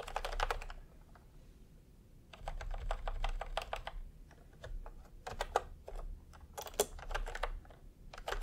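Bare fingertips of both hands type fast on a full-size pastel plastic retro keyboard with round, typewriter-style plastic keycaps, resting on white fabric. Bursts of quick, sharp clacking key presses with a mid-pitched plasticky tone are separated by a short quiet pause near the start, over a low steady rumble.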